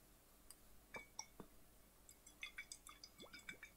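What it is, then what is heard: Glass bottle partly filled with water. Fingertips and nails tap a flat, clear, hollow glass bottle held sideways and tilted, partly filled with water. Bright, quick clinks mix with small drips and sloshing gurgles, some sliding up in pitch, all fading almost at once.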